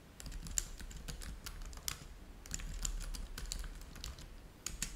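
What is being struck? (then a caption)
Plastic laptop keyboard. Fingertips of both hands type steadily on a black laptop keyboard with plastic keys. Quick, dry clicks with a bright, high edge come in an irregular stream over a low, steady hum, each press dying away almost instantly.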